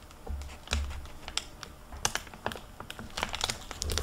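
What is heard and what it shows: Hands open a hardcover library book with a crinkly plastic-covered dust jacket, then handle and turn its paper pages. A quick run of sharp, bright crinkles and crackles sounds over a soft low rumble, each snap dying away almost at once.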